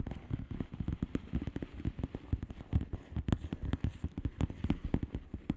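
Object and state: Plastic bubble wrap envelope.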